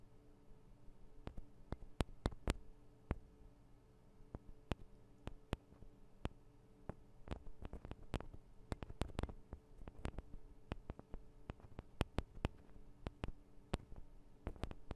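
Long acrylic nails tap and scratch the metal and plastic microphone capsules of a Tascam DR-40 recorder while fingers wrap around them. Dozens of short, sharp clicks of uneven loudness land in irregular bursts over a low, steady hum. Soft scratching fills the gaps between them.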